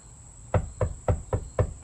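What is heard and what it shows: Five knocks on a steel camper van body panel lined with Dynamat, closed-cell foam and wool produce short, dull, low thuds that die away almost instantly instead of ringing hollow. A faint steady high-pitched tone runs underneath. The insulated panel sounds deadened and solid, as intended.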